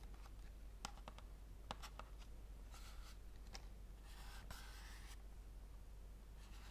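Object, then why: Paperboard tea box. A small, hollow, apparently full rectangular paperboard tea box, printed white and green for organic detox tea, is held in both hands and tapped and scratched with long dark-painted nails. Scattered sharp, light clicks alternate with brief bright scratching bursts over a steady low hum. The whole clip stays quiet.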